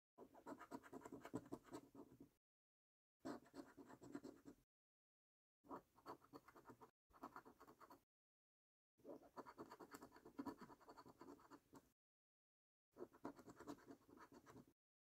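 A coin edge scratches the latex coating off a paper lottery scratch card in six quiet bursts of rapid, gritty scraping separated by silent pauses. The rasping sits mainly in the low-mid range, with little deep bass or high hiss.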